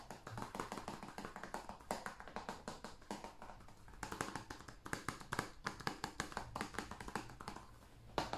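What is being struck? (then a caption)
Hollow plastic game case. A hand-sized, hollow blue plastic PS5 game case is held in the hands and tapped with the fingertips and nails on the cover and along the spine. Rapid, irregular streams of short, dry clicks and taps have a hollow plastic tone centered near 880 Hz, with bright nail edges. The taps die away almost instantly and come in bursts with brief pauses.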